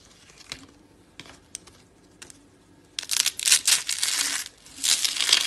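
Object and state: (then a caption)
Dry soap curls, crunchy. Black-and-white marbled dry soap rolled into rosette curls, solid and brittle, is crushed and crumbled into flakes between fingers with long dark nails. A few sparse, sharp crackles come first, then dense, loud, bright crunching bursts follow, pausing briefly before resuming. The crushing sound is dry and crisp, almost entirely high-pitched with no low end.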